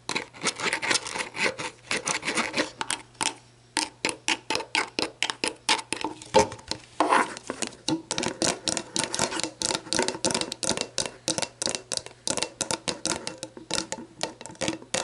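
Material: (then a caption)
Plastic. Long black nails tap and scratch a clear plastic sports drink bottle that stands upside down on its orange plastic screw cap, hollow and mostly empty, working over both the cap and the bottle body. Quick, bright, hollow plastic clicks and raspy scratching strokes come in rapid bursts with very short ring. The tapping pauses briefly near the four-second mark, then continues steadily to the end.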